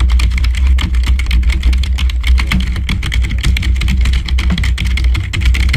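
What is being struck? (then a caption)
Plastic membrane computer keyboard. Fingertips of both hands type fast on a black full-size plastic membrane keyboard lying on the floor, with the microphone below it. A steady stream of rapid, overlapping key taps carries bright clicks over a heavy low thumping rumble near 62 Hz, and the level holds fairly even throughout.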